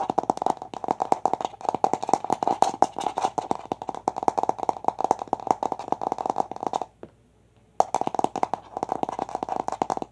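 Long nails and fingertips rapidly tap and scratch a large, hollow, light-blue plastic toy egg held close to the camera. The result is a fast, dense run of sharp, hollow clicks with a bright tone around 780 Hz. The tapping stops for almost a second near the seven-second mark, then resumes at the same quick pace.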